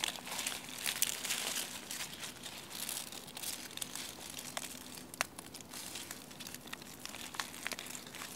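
Fingers with long painted nails crush and rub a dry brown chestnut leaf still on its branch. The result is a steady, bright crinkling and crackling, dense with small sharp snaps that die away instantly, with little low-end body.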